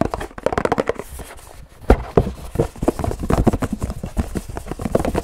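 Fingertips of both hands drum very fast on a hollow Pilkul paperboard drink carton, producing a galloping, clip-clop-like rhythm. The taps are dull, low-heavy thumps with a hollow tone around 390 Hz and almost no ring. They run in quick uneven bursts, with a louder accent near the two-second mark.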